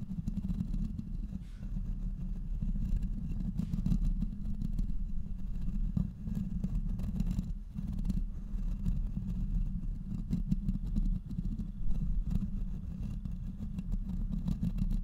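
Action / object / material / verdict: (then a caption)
scrape / metal microphone body / metal / none. Fingernails of both hands scratch and tap across the hollow metal body of a black cylindrical studio microphone mounted on a boom arm. The sound is a steady, dense, low rumbling scrape, centered around 78 Hz, with close, quick taps running through it and almost no high content.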